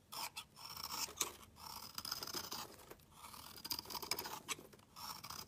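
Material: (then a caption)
Soap. A metal utility knife blade shaves a solid black round bar of soap, peeling off fine curly shavings. Quiet, bright, crisp scraping strokes come in bursts with short pauses between them, with a faint high whistling edge and almost no low end.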